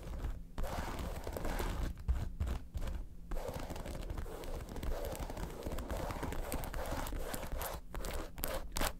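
A red, hollow, lobster-shaped faux leather handbag with metal studs is tapped and scratched with long acrylic nails. Quick, dry tapping and rubbing scratches run continuously and close together, with a low, dull body and little ring.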